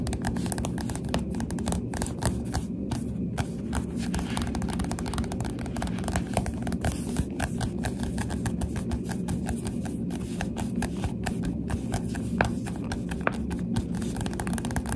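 Finger pads tap rapidly and steadily across the glossy front and back covers of a Goosebumps paperback book. Each tap is a soft, short, dull thud over a constant low rumble. The rhythm stays dense and even throughout, with occasional slightly brighter clicks.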